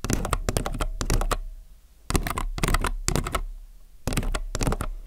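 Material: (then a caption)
Plastic. Fingertips type on a compact mechanical keyboard with plastic keycaps in three quick bursts separated by short pauses. Each keystroke gives a sharp, clacky click over a deep, thocky low thump that dies away almost at once.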